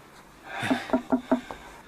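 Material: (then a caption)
Wood. A wooden wall is knocked on in a quick series of short, hollow, resonant knocks with a low tone near 250 Hz and almost no ring. The hollow sound shows there is an empty space behind the wooden wall.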